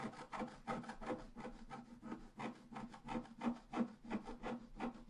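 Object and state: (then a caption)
Scratch-art card being scratched. A pointed wooden stylus scratches across a flat, solid black-coated scratch-art card lying on a table. There are 13 quick, fairly regular scratching strokes, each a dry, papery rasp with a low hum underneath and no ringing afterward.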